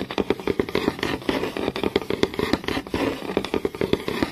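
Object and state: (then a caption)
Wooden board, solid. Fingertips and long nails tap fast and scratch along the grain of a flat, solid wooden board. Quick, irregular clicky taps with a woody resonance around 400 Hz overlap short scratchy strokes that brighten the sound, and each tap dies away almost instantly.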